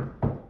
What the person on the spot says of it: I can knock on a table, you can hear the sound.